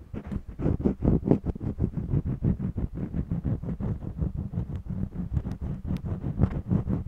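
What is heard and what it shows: A purple jumbo wax crayon scratches back and forth across the weave of a small stretched cotton canvas panel set on a mini easel. A fast, steady run of short, dry, rasping strokes is heard, mostly low and dull, each stopping almost at once with no ring.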